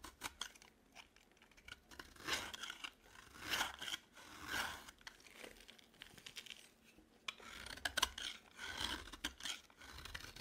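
A dry cream-colored solid bar of soap, held in the hand, is shaved and scraped with a metal utility knife blade. The result is a series of dry, crunchy, bright scraping strokes with short rasping bursts and quiet pauses between them, with almost no low end.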